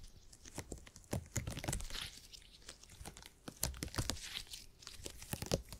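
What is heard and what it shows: A purple gel grid cushion made of hyper-elastic polymer is bent and squished between fingertips. It gives a run of irregular crunchy, crackling snaps over soft, squishy low thumps, with bright crinkly texture between the louder pops.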